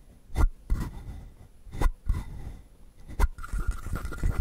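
Fingertips scratch the textured surface of a palm-sized, hollow, carved wooden frog, making soft, dry rasping strokes with a low, hollow body. Brief, bursting scrapes come at irregular intervals, then settle into a steadier, continuous scratching toward the end.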